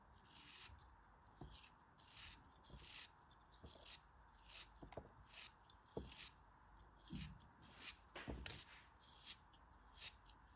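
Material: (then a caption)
Kinetic sand. Thin slices are shaved off the last small piece of a pink kinetic sand cone, held in the fingertips, with a utility knife blade. Each stroke makes a soft, bright, gritty scrape, repeating in quick bursts with faint ticks between them over a low hiss.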